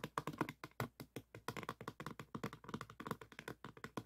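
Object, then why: Diamond painting board covered in small resin beads. Fingertips scratch and tap across the rows of small faceted resin beads covering a diamond painting board. They make a rapid, uneven string of short, dry clicks and crackles with almost no ring. Each tap has a bright, brittle edge over a soft low thump.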